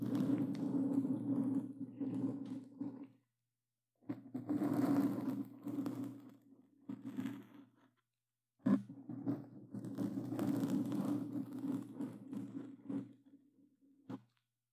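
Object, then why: Foam microphone windscreen. Gloved hands with plastic claw tips scratch a black foam cover on a Blue Yeti microphone, producing dense, rough scraping and crunching in three long bursts separated by short silences. The sound is close and full in the low-mid range, with a steady low rumble under the scratching that cuts off abruptly when each burst stops.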